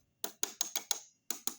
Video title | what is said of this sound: Robot Optimus Prime Bumblebee Terlaris Termurah Yang Diupdate Metal Alloy Tetep TERMURAH Harga Sama | bisa dilihat ini suaranya keras sekali